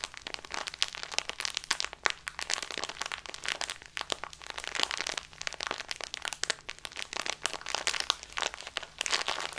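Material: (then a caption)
Plastic. A small plastic bag full of loose tea, lying on a table, is squeezed and rubbed with the fingertips and nails of both hands. Dense, bright crinkling and crackling comes in quick overlapping bursts, with a faint low hum underneath.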